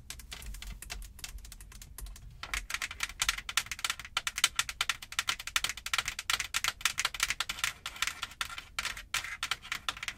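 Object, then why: Padded fabric car headliner. Long nails tap and scratch with both hands on the padded, soft-backed light fabric headliner above the windshield of a Jeep. Rapid, dry, crisp clicks and scratches patter in a fast, irregular stream, quieter for the first couple of seconds and then louder and denser, with no ring after each tap.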